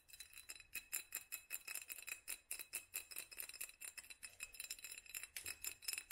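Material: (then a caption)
Glass. A small hollow glass mason jar in a black studded sleeve, held in one hand, is tapped rapidly with long nails on both the glass and the studs. The result is a quick, steady run of bright, clicky glass ticks with very short ring and almost no low end.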